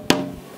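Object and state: Responsive braced guitar top.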